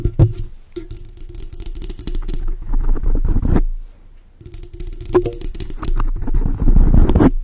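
Long acrylic nails quickly tap and scratch a large dark grey foam windscreen on a microphone. The result is a dense, muffled, bass-heavy run of thumps and rustling scrapes with a low rumble. The sound comes in two bursts separated by a brief quieter pause.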